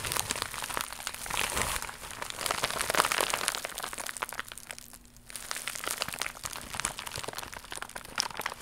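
Long acrylic nails scratch and crinkle a flat, iridescent, croc-embossed holographic plastic mailer pouch. The result is a dense, bright crackle of fast plastic crinkles and sharp scratchy clicks over a faint low hum. The crinkling dips quiet for about half a second near the five-second mark, then picks up again until the end.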